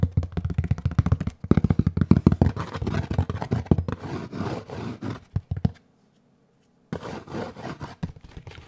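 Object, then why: Molded paper pulp packaging tray. A large rectangular tray of molded gray paper pulp, hollow and ridged on one side, is held in both hands and tapped and knocked with the fingertips. It gives rapid, dull, papery thuds with little ring and mostly low energy. The tapping stops for about a second before resuming more softly.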